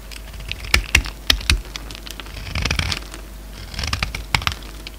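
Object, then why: Solid soap bar cut with a blade. A solid green soap bar, now narrower, is held in the hand and cut with a utility-knife blade, with flakes breaking off in repeated scraping strokes. Sharp, bright scraping clicks are heard at about 0.75, 0.95, 1.3, 1.5 and 4.4 seconds, with softer crinkly rustling stretches in between, around 2.6 to 3.0 and 3.8 to 4.2 seconds.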